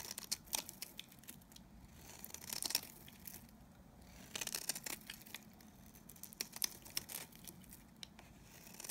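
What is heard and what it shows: A solid cream-colored dry bar of soap, held in the hand, is scraped and shaved with a utility knife blade. The clip is quiet and dominated by bright, dry scraping, crackling and crumbly flaking. Short sharp clicks and brief louder bursts of shaving recur throughout.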